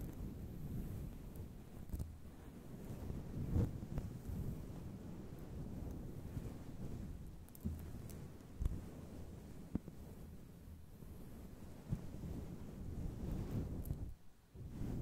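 Long pointed glittery claw nails rub and scratch a grey fluffy faux fur windscreen on a microphone. The result is a steady, muffled, low rumbling rustle with almost no high end, broken by a few brief sharper thumps.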